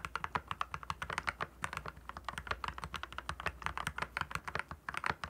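Both hands type continuously with their fingertips on a compact 68-key RK68 mechanical keyboard with backlit clear plastic keycaps. It produces a steady, rapid stream of short, crisp clacks with a bright, clicky edge and very little low end. Each keystroke dies away almost instantly.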